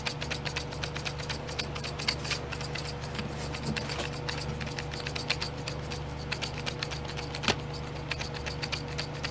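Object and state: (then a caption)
Plastic glitter pot tray, nails scratching. Long nails rub and scratch the lids of small clear domed plastic glitter pots in a pink plastic tray, making a rapid, uneven stream of dry, bright clicks and scrapes. A steady low hum with a faint constant tone runs underneath, and one sharper, louder click stands out near the end.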